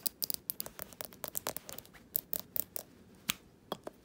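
Fingernails tap and scratch the glass of a small jar candle filled with solid wax, lying on its side on a fabric surface. A quick, irregular run of sharp, bright clicks and scratchy ticks stops dead with almost no ring. The sound is quiet and thin, with very little low end.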